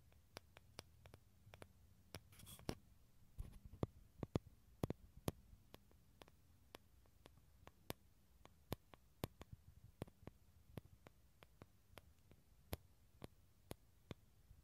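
Fingernails tap and scratch a small, hollow, halved dried gourd shell with an empty interior, held around and behind the recorder. The result is many sharp, separate clicks that die away almost instantly, with a brief scratchy rustle near the start, over a quiet, low background hum.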